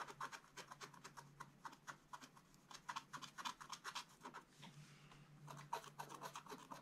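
An upright wooden stylus scratches short strokes across the upper area of a black-coated scratch-art page in a spiral book. It makes quick, dry, bright scratches at an uneven pace of roughly four per second. The strokes give way briefly to a softer, smoother rub near the end before the quick scratching resumes over a faint low hum.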